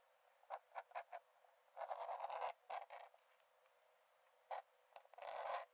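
A metal nib in a wooden dip-pen holder scratches quick hatching strokes onto the cream paper page of an open sketchbook lying flat on a dark desk. Short, dry, scratchy strokes come in quick bursts, broken by longer stretches of continuous rasping. The sound is thin and bright with no low end.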